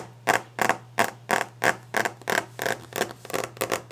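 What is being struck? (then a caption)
Varnished wooden desk top. Long, clawed nails drum rapidly and forcefully on the solid, polished, varnished wooden top of a desk. There are 14 quick, dry, bright taps with a slightly uneven rhythm and almost no ring, over a faint steady low hum.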